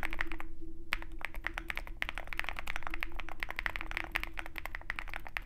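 Fingertips of both hands type rapidly on a compact 65% Zoom65 mechanical keyboard with a dark metal case and white and black plastic keycaps. Quick, irregular clacky key taps with a bright click centered around 2.3 kHz follow one another in a dense stream over a faint steady low hum. Each tap dies away almost at once.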